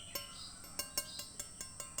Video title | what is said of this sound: Tutorial Menajamkan Pisau (ep.1) Alat dan Bahan | kandungan karbonnya banyak sehingga kalau kita diketuk itu bunyinya ting gitu